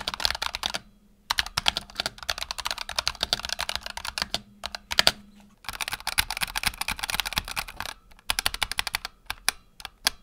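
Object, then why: Mechanical keyboard with PBT plastic keycaps. Fingertips type on a black tenkeyless Razer Huntsman Tournament Edition keyboard with PBT plastic keycaps and optical switches, resting on a desk mat. Rapid, bright, crisp key clacks come in bursts with short pauses between them, each click dying away almost instantly, over a faint low hum.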